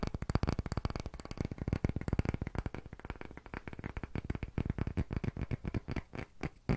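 A thick, solid, round, pale wooden disc is held in both hands above a microphone while fingertips and nails tap and scratch it quickly. The result is a fast, continuous stream of short, dull, low-pitched knocks that die away instantly, with a light scratchy texture between them.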